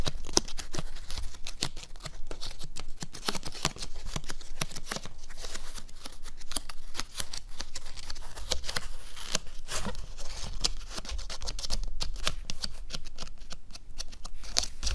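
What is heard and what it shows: Fingernails scratch and tap rapidly on the back of a stretched canvas, where bare cotton fabric sits inside a hollow wooden stretcher frame. The result is a dense, steady stream of dry, crisp scratching and quick tapping clicks with soft, hollow low thumps beneath and bright edges on the sharper strokes.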